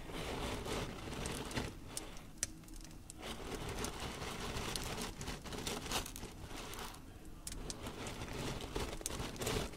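A layer of coarse pink salt crystals spread on a dark tray is raked and rubbed through by the fingertips of both hands. The loose grains give a steady, gritty crunching and rustling, with scattered sharp, bright ticks. The sound eases briefly in a couple of spots before the scraping picks up again.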